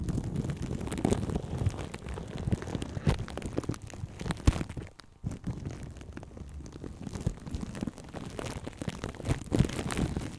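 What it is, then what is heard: Plastic cling film crinkled on a microphone. Plastic cling film wrapped around the right one of two microphones is handled with both hands, as fingertips and long painted nails tap, scratch and squeeze the crinkly wrap. This gives a dense, muffled stream of low, rumbling crackles and crinkles with little brightness. A brief near-silent pause comes around the middle before the crinkling resumes.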